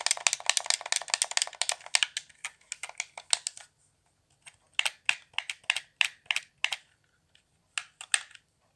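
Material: Plastic.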